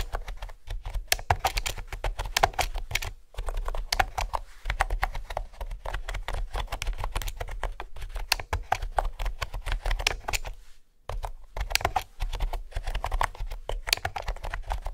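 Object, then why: Plastic keyboard with round keys. Fingertips with nails type steadily on a mint green plastic keyboard with round keys and a hollow body, resting on a wooden table. It makes a dense stream of short, crisp clicks with bright tapping edges over a hollow low thud. The typing pauses briefly around 3 seconds and again near 11 seconds.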